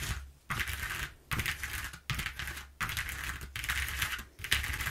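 Long nails and fingertips tap and scratch quickly over the exposed ridges of a flat brown corrugated cardboard sheet resting on a wooden table. Bursts of bright, dry rasping and clicking come in short, irregular runs separated by brief pauses, with a soft low thump underneath.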